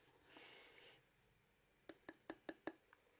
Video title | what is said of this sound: #Waveshare 11.9" IPS Monitor with 320x1480 Pixel Unboxing + Review + 60 Teeth #GT2 Pulley by #Hayri | Uh, sounds like plastic, but that's metal.